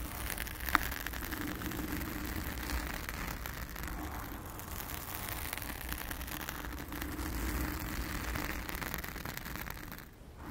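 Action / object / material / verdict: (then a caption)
scrape / foam microphone windscreen / foam / none. A blue foam windscreen on a round studio microphone is scratched with the long acrylic nails of both hands. The result is a steady, dense crackling and rustling with a low rumble and a brighter mid band, staying fairly even throughout before a brief dip at the end.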